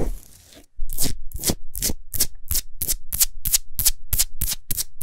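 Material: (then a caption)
Salt crystal. Long nails rapidly rub and scratch a large solid Himalayan salt sphere lamp that is lit from inside. After a brief quiet moment, a steady series of bright, gritty scraping strokes follows, each with a low thump underneath.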